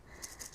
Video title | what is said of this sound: Herpetology 2023 | there's no like seeds or anything inside it's just segments it's not like a Maraca